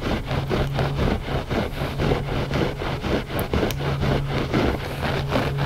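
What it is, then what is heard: Looped-pile carpet rug being scratched. Both hands scratch the pile of a gray looped-pile carpet rug with short nails and fingertips. The result is a continuous, rhythmic run of dry, rustling scratches over a steady low hum.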